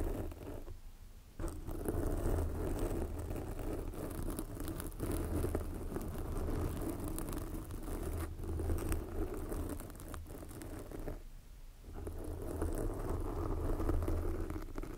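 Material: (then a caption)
Foam. Long, glossy black fingernails on both hands scratch a soft, porous red foam windscreen covering a microphone. The result is a dense, continuous, rustling scratch with a heavy low rumble. It drops briefly into quieter gaps near the start and again around the eleventh second.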